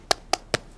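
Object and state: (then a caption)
Set hard fiberglass cast. Three sharp taps on a newly applied blue fiberglass arm cast, checking whether it has set, each a crisp, dry knock with a bright midrange tone and almost no ring, like knocking on a door. The cast is set, dry and hard.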